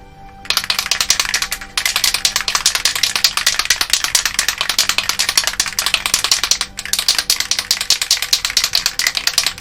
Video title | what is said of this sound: How I Made Cloud Strifes Buster Sword - 05 Spraying Filler (3D Printed) | shake it until you hear the rattling very nicely